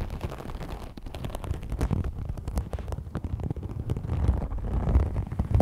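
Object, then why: Rolled textured vinyl sheet. A rolled iridescent faux snakeskin vinyl sheet, its holographic scale-textured surface formed into a hollow tube, is scratched along its length by fingernails. The result is a dense, low, rumbling scratching with many quick irregular rasps and deep thumping undertones, with little high-end brightness.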